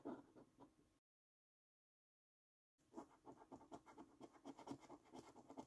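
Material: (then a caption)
Paper. A coin scratches the coating off a thin, flat paper £15 Luxury Lines National Lottery scratch card. A brief burst of dry, raspy scrapes fades out and is followed by a gap of silence. Then rapid, uneven strokes resume with a gritty midrange texture and quick, bright edges.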